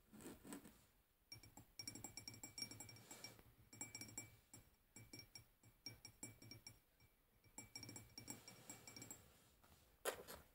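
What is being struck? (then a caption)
Glass tumbler partly filled with water. Long painted fingernails tap a clear, hollow drinking glass that is partly filled with water and standing on a wooden table. The result is quiet bursts of bright, rapid clinks with short ringing tones and a soft low thud. The clinking comes in clusters separated by brief pauses, ending with one sharper clink.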